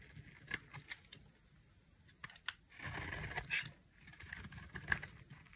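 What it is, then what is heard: Dry bar soap being cut. A solid, dry white bar of soap is held in one hand and cut into strips and flakes with a utility knife blade. Sharp, bright clicks and short crisp scrapes come at irregular intervals. Around the middle, a few longer shaving strokes carry a steady, brittle rasp.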